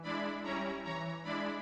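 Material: Nothing is struck.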